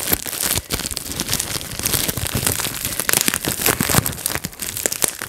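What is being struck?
Plastic bubble wrap sheet.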